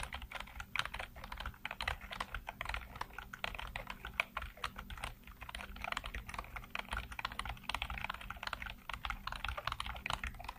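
Fingertips type quickly on a black plastic full-size computer keyboard with hollow keycaps and backlit keys. The result is a dense, steady stream of short, dry clicks and clacks with a bright, hollow tone centered around 2.4 kHz, over a faint low hum.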